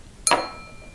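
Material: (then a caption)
Lead crystal. A lead crystal glass container is tapped once with a fingernail, giving a bright ringing "ding" whose clear tones hold on after the strike. The sustained ring marks the piece as containing lead, unlike plain glass, which gives only a short "tink."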